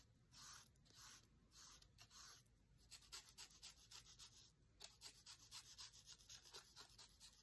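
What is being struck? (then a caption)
Paper book page rubbed with a dry reed stem. A thin dried reed stem is rubbed and scratched across an open cookbook page, with text and a food photo, lying flat. It begins with a few long, slow swishing strokes, then shifts to a quick run of short, dry scratches at about four per second. The sound is quiet, bright and papery, with no low end.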